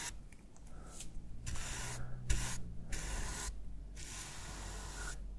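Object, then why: Plastic game controller brushed with a bristle brush. A bristle shaving brush with a wooden handle rubs over the textured back of a hollow, hand-sized black plastic PS5 controller resting on a wooden desk. Soft, bright, hissy swishes come in uneven strokes separated by short quiet gaps. A low, steady hum sits underneath.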